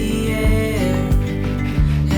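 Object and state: Nothing is struck.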